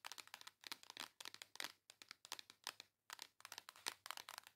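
Long acrylic nails rapidly scratch and tap across the printed cover of a flat, hand-sized pink cardboard face palette. The sound is a quiet stream of dry, bright clicks and crinkly scrapes with no low end and almost no ring. They come in quick bursts separated by brief pauses.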